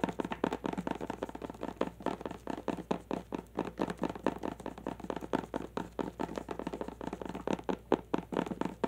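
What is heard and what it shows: A long clear plastic tube filled with glitter is held horizontally and tapped with the long nails of both hands. Rapid, dry clicking taps follow one another closely with very short ring, mostly in the low-mid range.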